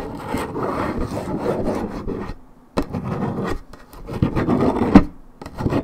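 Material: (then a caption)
Paperboard. Long red nails scratch the coated paperboard surface of a hollow Minute Maid 1.75 L orange juice carton, fill unknown. A dry, rubbing rasp comes in sustained bursts with brief pauses between them, and a sharper scrape stands out near the end.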